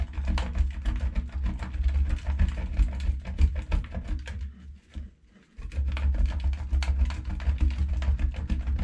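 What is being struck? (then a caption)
Bar of soap on a stainless steel grater. A solid, hand-sized pink bar of soap is rubbed back and forth by hand across a stainless steel box grater, and the shavings fall onto a black plate. Rapid, uneven scratchy grating strokes carry a heavy low rumble. Partway through they pause briefly, then resume.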